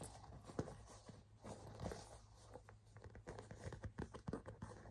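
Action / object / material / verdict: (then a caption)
tap / pebbled leather handbag / leather / none. Fingertips and nails tap and scratch the flat front panel of a small, hollow burgundy pebbled-leather crossbody bag held in the hand. The result is a quiet, irregular run of soft, dull taps that die away almost instantly, mixed with faint scratching. The taps grow denser toward the end over a low, steady hum.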